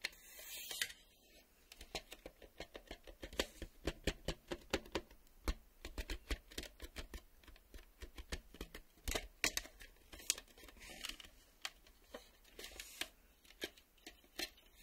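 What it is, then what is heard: Plastic VHS cassette. A black plastic VHS cassette, a hollow shell with tape reels inside, is handled and tapped with fingertips and nails while its empty sleeve lies untouched nearby. Dozens of quick, dry, bright clicks and taps follow one another in an uneven rhythm, each dying away instantly, with a brief rustly scrape at the start.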